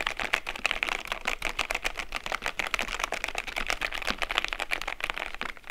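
Both hands type on the keycaps of a white and grey plastic mechanical keyboard with long-nailed fingertips. A fast, steady stream of short, bright clacking keystrokes follows, each one dry and quick to fade, with little low end.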